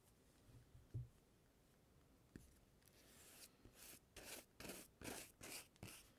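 A black plastic comb is drawn across the glossy page of an open magazine showing a portrait photo, in combing strokes. After a few soft taps and a dull thump, it builds into a series of quick, bright, papery scraping strokes, each a short hissing swish.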